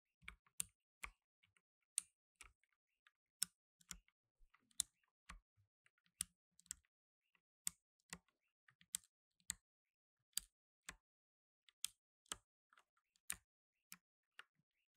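Blue nitrile-gloved fingertips press the plastic keycaps of a black tenkeyless mechanical keyboard, giving about 22 sharp, separate clicks spaced through the quiet. The clicks are bright and dry with almost no ring.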